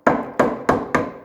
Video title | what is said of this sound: Gardner Engines: 6LXB That Could Not Swim: Part 4 Removing The Sump | the sump is already quite loose. You'll just know by the sound. You hear that sound? It's a hollow sound.